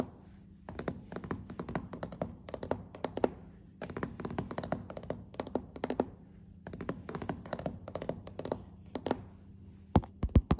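Long acrylic fingernail tips and fingertips tap on glossy dark solid hardwood floorboards in build-up tapping. The taps are short, dull and low, coming in rapid bursts separated by brief pauses. A few louder, sharper taps close the clip.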